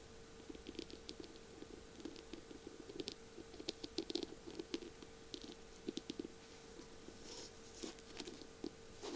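Long purple nails tap and scratch along a feather pen's beaded barrel, which is decorated with mirror tiles and has a metal tip. Many quiet, crisp clicks and brief scratches come in uneven bursts, each dying away almost instantly, over a steady low hum and a faint high whine.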